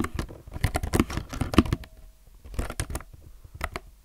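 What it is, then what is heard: Plastic mechanical keyboard being typed on. Fingertips type continuously on a low-profile mechanical keyboard with plastic keycaps, recorded close up. The clacks are quick and dry with a deep, thocky body. Bursts of keystrokes come with short pauses between them.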